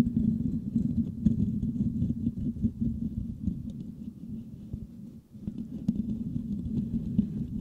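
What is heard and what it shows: Fingertips of both hands scratch the metal mesh grille of a white microphone, making a dense, muffled scratching patter centered in the low-mid range with almost nothing high. The rustle runs steadily, fades briefly about two-thirds through, then picks back up at the same level.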